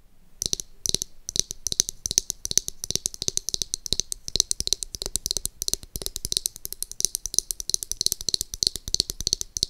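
Long acrylic nails rapidly tap and scratch the pink, glittery, rounded plastic back of a small palm-sized hair brush with a hollow-sounding shell. The result is a dense stream of sharp, bright clicks and scrapes, mostly high-pitched with very short decay and a faint hollow body tone underneath.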